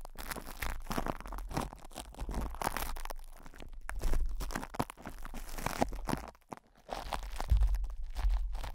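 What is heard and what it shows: Fingertips and short nails scratch, squeeze and rub crinkly plastic cling film wrapped tightly over the hollow metal mesh grille of a Blue Yeti microphone head. The result is a dense, irregular run of crackling and crinkling with scratchy bursts, over a heavy low rumble and a brief quieter pause near the end.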